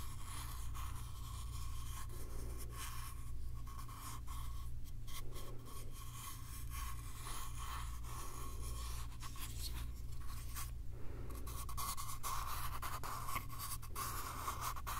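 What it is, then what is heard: Small wooden box. Fingertips and nails rub and scratch the surfaces of a small, hollow, light-wood box with a flat panel lid, held in the hand close to the mic. The result is a steady stream of soft scraping and scratching with bright, airy texture over a constant low hum.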